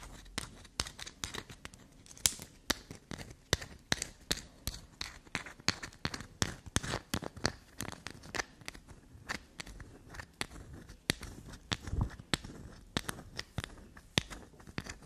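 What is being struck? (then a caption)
Bar of soap. A solid, grooved block of black soap held in the hand is scratched quickly and tapped with long black nails. Dense, rapid clicks and scrapes have a bright, crisp edge and die away almost at once. A few firmer taps stand out among them.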